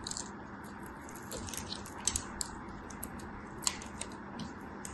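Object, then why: Soap bar scraped with a thin metal blade. A thin metal blade carves and scrapes small chips off a solid yellow soap bar held in a hand with long white nails. Soft, crisp scraping is punctuated by bright, sharp ticks and snaps, set over a steady low background hum.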